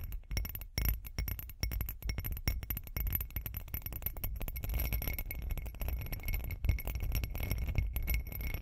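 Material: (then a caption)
Glass. Long acrylic nails tap and click rapidly on a hand-sized, hollow, bumpy glitter glass cup. The sound is a dense stream of short, bright clicks with faint glassy ringing over a steady low hum.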